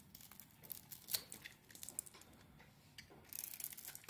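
A metal utility blade carves flakes off a solid blue-coated Palmolive soap bar with a green interior. Quiet, bright scraping and crisp crackling clicks come in irregular bursts, with a denser run of scraping near the end.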